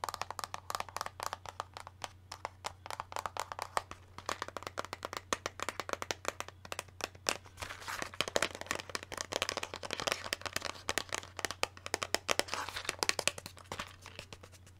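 Long manicured nails tap and scratch a small, hollow, rectangular magenta printed cardboard box of Red Aspen press-on nails, possibly still in plastic wrap, held up in one hand. Rapid, dry, crisp clicks and scrapes patter quickly over a steady low hum, growing busier and brighter in the second half.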